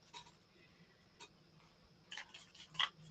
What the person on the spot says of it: it's got like a ball in it you can hear it shaking